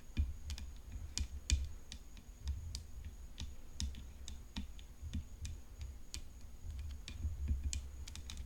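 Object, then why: Graphite composite tennis racket frame. Long fingernails tap quickly on the hollow frame of a graphite composite tennis racket decorated with rhinestones. Sharp, bright clicks land in irregular bursts over a steady low hum and a faint, constant high whine. Each tap is short and dry, with little ring.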